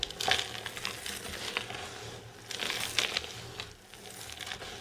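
A pile of dry green soap flakes is crushed and squeezed by palms and fingers, then pushed into a mound. It makes bright, dry crackling and crunching in uneven bursts, with the loudest crunches near the start and again around the three-second mark. Softer rustling fills the gaps between them.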